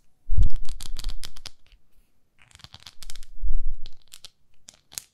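Long nails scratch and tap a small pink plastic facial cleansing pad with a textured face. Two bursts of rapid, dry scratching with bright, crackly detail and a low thumping body are separated by a short pause. Fainter scattered taps trail off at the end.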